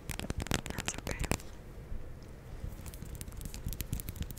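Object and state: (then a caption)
Glass candle jar. Long nails tap and scratch the glass side of a large glass jar candle filled with white wax while it is held. Quick, bright, crackly taps come first, then give way to a softer, dull scratching. Scattered light taps follow to the end.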